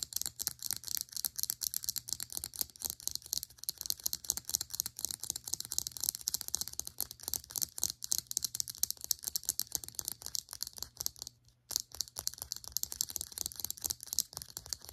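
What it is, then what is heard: Plastic serum bottle. Long acrylic nails rapidly tap and scratch the sides and cap of a small white and grey plastic Hismiles serum bottle standing upright. Dense, crisp, bright clicks and scratchy rasps run steadily for about fifteen seconds, each very short with almost no ring, pausing briefly just before the twelve-second mark.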